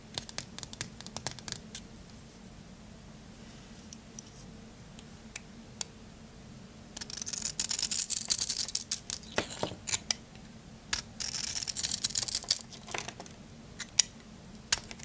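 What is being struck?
Glitter-coated bar soap.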